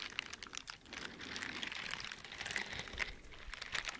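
Teal silicone dishwashing gloves with bristled palms, worn on both hands, have their fingers flicked and rubbed against the bristles close to the microphone. The result is a quiet, dense stream of dry, bright crackling ticks and short rubbing crinkles, with almost no low end and no ring after each tap.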